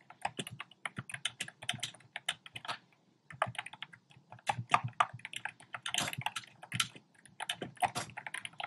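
Fingertips type rapidly on a compact black plastic typewriter-style keyboard with round plastic keycaps. Bursts of bright, clacky key taps with very short decay come in quick runs, with a brief pause near the three-second mark before the typing resumes.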